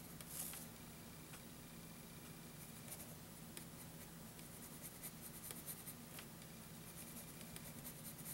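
A wooden graphite pencil held in the hand draws steady strokes across a page of a spiral-bound lined paper notebook. Soft, bright scratching of the lead on the paper runs throughout, with faint ticks, over a quiet steady low hum.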